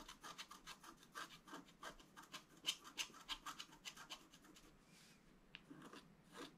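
A thin wooden stylus scratches across a flat black-coated scratch-art card held down by one hand. Quick, dry, bright scratching strokes come in an uneven rhythm, with a brief quieter pause near the end before a few more strokes.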